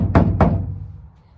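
Two knocks on the steel body panel of a classic car under restoration give dull, low thuds with almost no high end and a short decay. The panel sounds solid, confirming a sound vehicle.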